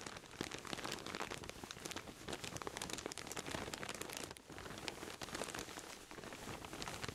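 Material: Plastic film.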